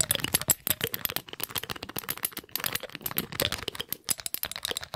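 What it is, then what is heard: Glass dropper bottle. A small dark glass dropper bottle with a rubber bulb pipette and a red label is handled quickly: the pipette is pulled out and pushed back in, and the bulb is squeezed with fingers. The result is a rapid, dense stream of sharp, bright clicks, taps and rattles with almost no ring and little low end.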